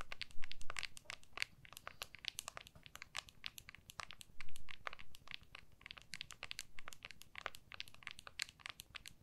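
Long nails rapidly scratch and tap the back of an iPhone in a small, solid, clear plastic case held in both hands. The result is a dense, irregular stream of sharp, bright clicks and crinkly scrapes over a faint low rumble.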